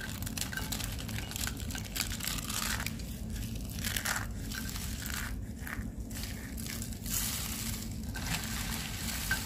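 A pile of dry, brittle white and purple soap curls in a white tray is crushed and squeezed between bare fingers and palms. A steady stream of dense, bright crunching and crinkling is heard, with a low rumble underneath, as the curls break into crunchy flakes.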